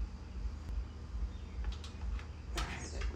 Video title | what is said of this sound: Kawasaki Vulcan S 650 - Radiator Guard Cover Installation | i don't hear it going ding ding ding or click click it's good now